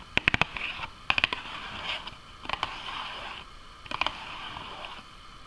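Fingernails tap and scratch the side and front of a small, hollow Nuggets cardboard box with an orange side panel punched with holes. Four quick bursts of crisp, bright taps, about 14 in all, are separated by softer, hissy scratching across the surface. Each tap is dry and short, with almost no low end or ring.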